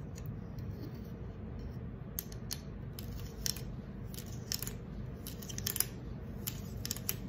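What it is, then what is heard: Aluminium soda can tapped and scratched with fingernails. Long acrylic nails scratch and tap the silver concave bottom of a green aluminum soda can. Quiet, sharp metallic ticks and brief bright scratches come in scattered clusters over a steady low background rumble, each click dying away almost instantly.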